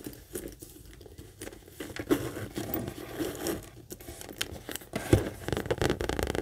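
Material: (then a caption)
Coated canvas. A small, hollow monogram coated-canvas mini backpack is scratched and tapped on its front with long acrylic nails while being tilted in the hands. Soft, dry scratching and crinkly rustling run throughout, broken by quick, low, muffled taps. Two sharper knocks stand out, one near the two-second mark and a louder one just after five seconds.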